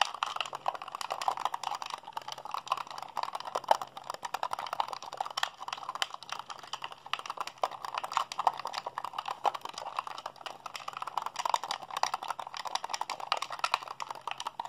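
Fingertips and thumbs rapidly mash the buttons of a hollow white plastic Xbox handheld controller held in both hands. The result is a fast, dense stream of short, dry plastic clicks and rattles centered in the midrange, with no ring after each press. A faint steady low hum sits underneath throughout.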